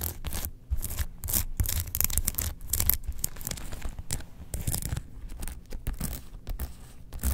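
Long nails scratch across the printed front of a closed, rectangular printed faux leather Star Wars zip wallet. Rapid, raspy scratching strokes come in quick bursts, each a bright hiss over a soft, low rubbing body, with no ringing between strokes.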